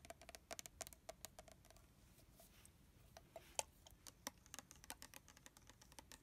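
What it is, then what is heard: Plastic mist bottle, tapped. A red plastic body mist bottle holding liquid is held horizontally while fingertips and fingernails tap along its body. The result is a quiet, irregular run of short, bright, clicky taps with a slight hollow tone, each dying away almost instantly, with a brief sparser stretch in the middle.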